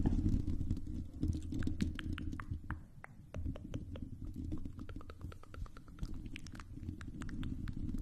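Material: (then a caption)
Metal mesh. Long pink acrylic nails scratch across a silver, hollow metal mesh microphone grille, making a dense, low, rumbling scrape scattered with quick, bright ticks and clicks. The scratching briefly softens and thins when one hand lifts mid-stretch, then picks back up into a steady, irregular patter.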